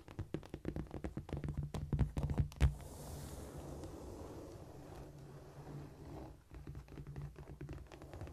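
Long dark almond-shaped nails tap and scratch close up on a flat, solid cork floor. Quick irregular taps and scurrying scratches come as dull, low thuds with almost no ring, busiest in the first three seconds. Softer, steadier scratching follows.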